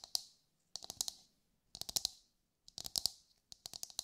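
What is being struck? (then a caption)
Whole husked coconut. Long light-grey nails tap a brown husked whole coconut with a hard fibrous shell, held in both hands. Quick, dry, bright clicks land in five short bursts of rapid taps separated by brief silences, each click dying away almost instantly with almost no low end.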